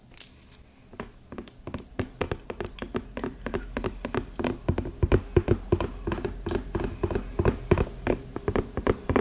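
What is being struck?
Ceramic candle tumbler filled with wax, plastic lid.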